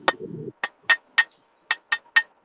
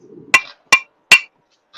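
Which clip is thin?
The first.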